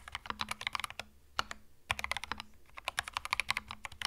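Both hands type with their fingertips on a white 65% mechanical keyboard with plastic retro Mario keycaps and a hollow plastic case. Quick bursts of short, bright, clacky keystrokes come with a faint low thud under each press. Two brief lulls break up the typing.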